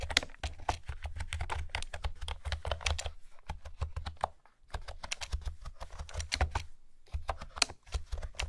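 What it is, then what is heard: Plastic keyboard being typed on. Fingertips with long nails type quickly on a light blue plastic retro keyboard with pastel, round typewriter-style keycaps and a hollow housing. Its dense, clicky key taps sit over a deep, hollow thump, with short pauses between bursts.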